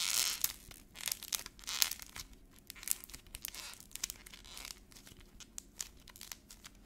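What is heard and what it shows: Fingers squeeze a small, solid ball of teal air-dry modeling clay coated in brittle black paint, cracking the paint, then peeling and crumpling the shell off the clay. The result is a quiet, bright, crisp crackling and tearing, with a dense scatter of sharp little snaps and crinkles and almost no low end.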